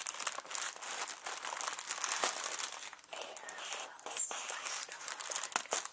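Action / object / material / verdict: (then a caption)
scrape / inflated plastic packing air pillow / plastic / none. A small inflated clear plastic packing air pillow with blue print, hollow and air-filled, is held in both hands and squeezed and crinkled with fingertips and short nails. It gives a steady, dense stream of bright, crackly crinkling with sharp little snaps and almost no low end.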